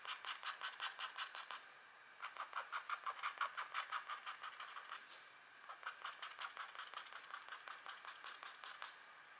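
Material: Coated paper.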